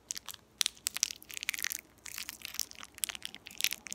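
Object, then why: Metallized plastic candy wrapper. A small, empty, shiny purple metallized plastic candy wrapper is pinched and crinkled at its ends between fingertips with long painted nails, then rubbed between both hands. Dense, bright crackling and crinkling fills the clip in quick, irregular bursts with no low end.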